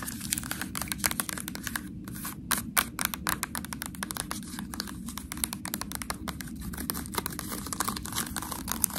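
Long nails scratch and tap the ridges of a small, sealed, ribbed white plastic sauce cup with a foil lid. The result is a dense stream of quick, dry, bright clicks and scrapes that stop almost instantly, with occasional louder taps over a steady low rumble.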